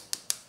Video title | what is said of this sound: BERGAYA KLASIK MENARIK - FULL REVIEW SMARTWATCH TERBARU AOLON PRIME 3 | kalau saya ketuk-ketuk ini kerasa Solid kok